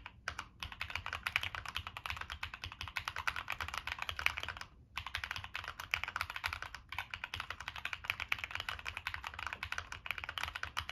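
Continuous fingertip typing on a Monsgeek M1 mechanical keyboard with a black aluminum case, plastic keycaps and NK Cream switches. It makes a dense stream of short, bright, clacky keystrokes with almost no ring. Brief pauses fall near 0.3, 4.8 and 6.9 seconds.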